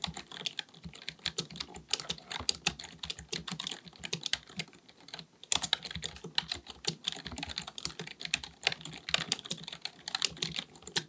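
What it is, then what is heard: Plastic computer keyboard being typed on. Both hands type continuously with their fingertips on a black, full-size plastic keyboard with a hollow body, likely mechanical, resting on a desk. Rapid key taps produce dense, bright, dry clicks with almost no ring and little low end. A brief pause comes around the middle before the typing picks back up.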